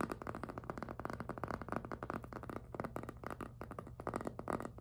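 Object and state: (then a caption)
Jelly PVC handbag squeaking under fingertips. Fingertips grip and squeak on the rubbery plastic front of a hollow pink jelly PVC handbag. The result is a rapid, continuous run of short, dry squeaks and rubbery rubs with a muffled low-mid body and very little bright top end.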